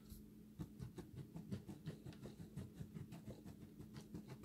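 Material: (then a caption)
Soap. Fingertips pinch dry, multicolored recycled soap chips piled on granite, then cupped hands scoop a handful and let it pour back down. The result is a quiet, irregular stream of soft, dull crunches and crumbling rustles, low-weighted with faint high grit and no ring after each touch.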